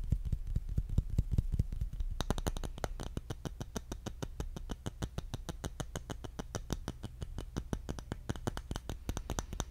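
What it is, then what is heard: Bamboo jar lid tapped. Fingertips tap quickly and unevenly on the underside of a round, palm-sized bamboo jar lid with a raised rim. The taps are short and dry with almost no ring. They start as soft, low thuds, then from about two seconds in turn into sharper, brighter clicks that continue to the end.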